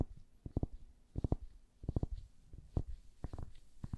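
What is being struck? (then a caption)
Wooden paddle hairbrush. Long nails tap and scratch the surface of a hand-sized, orange-tan solid wooden paddle hairbrush with bristles, held in gloved hands. Quick clusters of soft, dull, low-pitched taps with almost no ring are heard, separated by faint scratching.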